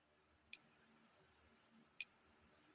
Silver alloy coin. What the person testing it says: kung tunog na isa siyang silver although 50% lang ito ... ayun meron pa rin